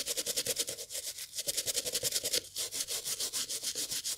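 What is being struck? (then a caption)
Leather and fabric loafer. A toothbrush held in gloved hands scrubs the beige textile panel of an empty, hollow brown leather loafer. Rapid, rhythmic back-and-forth strokes make a bright, hissing scratch with a faint midrange rasp. The strokes come about three or four per second and are clearly separate throughout.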